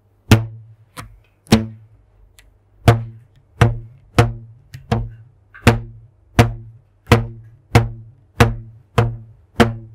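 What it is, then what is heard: Plucked rubber band. A thin purple elastic rubber band, stretched taut between the hands, is plucked with a fingertip in front of a microphone 15 times at an uneven pace. Each pluck gives a low, twangy thump around 113 Hz with a bright snap on the attack and buzzy harmonics that fade within a fraction of a second.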